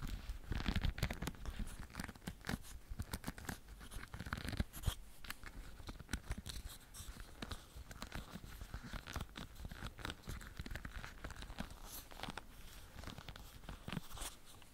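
Nails and fingertips scratch and strum along the rows of wooden pin bristles on a leopard-print hairbrush held close by. The result is a dense run of quick, dry crackling ticks and rasps over a low rumble, with brief bright flicks throughout.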